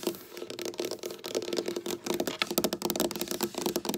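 Long black nail tips tap and scratch quickly with both hands across a flat, solid, dark wooden tabletop. The result is a dense, rapid run of sharp, dry clicks over a bright scratching hiss, with each tap dying out almost instantly.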